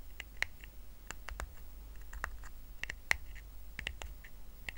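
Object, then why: Woven rattan coaster. Fingertips tap and short nails scratch a small, round, flat woven rattan coaster resting on a blanket. The result is a quiet run of short, dry, crisp clicks and scratches that peak in the upper mids and bright range and die away instantly, over a faint low rumble.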